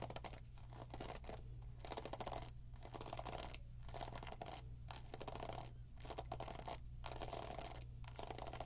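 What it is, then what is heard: Plastic paddle hairbrush. Long pink nails scratch and tap the plastic pin bristles of a black plastic paddle hairbrush held up close, making a steady stream of dry crackling, scratchy clicks. The rustling comes in repeated bursts separated by brief quieter gaps, over a constant low hum.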